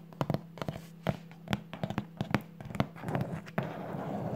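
Long polished nails and fingertips tap and scratch the flat top of a large, hollow, apparently closed corrugated cardboard shipping box with teal Amazon tape and a white label. Short, dull, low taps and clicks come in uneven bursts over a steady low hum. Toward the end they give way to a softer, continuous scratching rustle.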